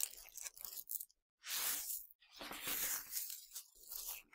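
Fingertips scratch and pinch a pile of small, hard, colorful Nerds sugar candies, then hands scoop and pour the candy. Bright, gritty crunching and rattling comes in bursts separated by brief silences. The sound is almost entirely high-pitched, with no low end.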